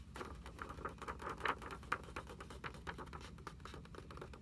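Long acrylic nails tap rapidly and unevenly on the lined paper pages of an open hardcover notebook lying on a table. The result is a quick, irregular patter of short, dry clicks with a papery midrange tone, a few taps landing louder than the rest, over a faint low rumble.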